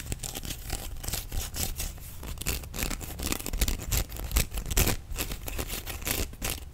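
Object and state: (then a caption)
Bamboo sushi mat. A rolled bamboo sushi mat, held in both hands, has its slats scratched and tapped with fingernails and squeezed. This produces rapid, irregular clicking and scratchy rustling with a bright edge over a low, thumpy body.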